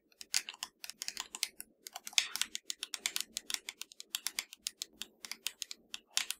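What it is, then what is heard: Plastic game controller, hollow. Long nails tap and scratch the shell of a hollow black plastic PS4 controller. A rapid run of quick, bright, dry clicks with short scratchy strokes fills the clip, each tap dying away almost instantly.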